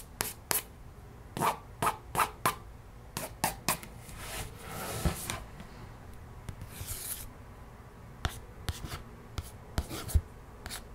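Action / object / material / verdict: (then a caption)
scrape / laminated cardboard board book / cardboard / none. Long nails trace and scratch over the illustration on the glossy laminated cover of a closed, solid cardboard children's board book. About 17 short, sharp scratching strokes stand out, with brief bright edges, and softer stretches of continuous rubbing in between. The sound is dry and close, with almost no ring after each stroke.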